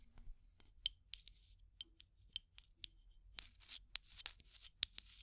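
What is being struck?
Plastic tube container with aluminium screw lid.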